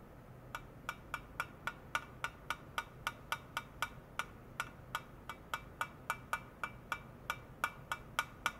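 A flat, shoe-sized silver aluminum foil pouch, apparently sealed and possibly filled, lies on white foam netting with a sensor clip attached at one end and is tapped repeatedly with the tip of a long white plastic rod. About 28 short, dry taps with a faint pitched ping around 1.5 kHz and a bright click come at an uneven, fairly quick pace over a low background hiss. Each tap dies away almost instantly.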